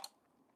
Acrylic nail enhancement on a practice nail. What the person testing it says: when you hear that sharp clicking sound, you know that your product is set